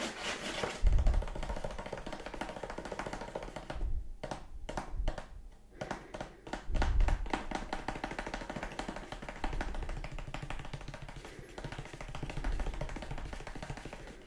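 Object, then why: Cardboard box edge. Fingertips tap along the edge of a hollow kraft cardboard box with a finger hole. Rapid, uneven, dry tapping runs throughout, with short, muffled, low thuds and almost no ring. A few heavier knocks stand out among the quieter taps.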